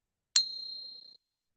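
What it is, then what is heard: Silver dollar coin rings true. A heavily worn, slicked Peace silver dollar with its date worn off is pinged once. It gives a single bright, high ring that sustains for about 0.8 seconds before fading. The clear ring confirms the coin is real silver.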